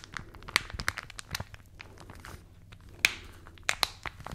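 A thin, flexible folded newsprint newspaper is held close to the mics and squeezed, crinkled and rubbed with long manicured nails and fingertips. Soft, bright paper rustling is broken by irregular sharp crackles and snaps, with the loudest near the middle and a cluster toward the end. The sound is dry and very short-ringing, centered around 2.4 kHz with little low end.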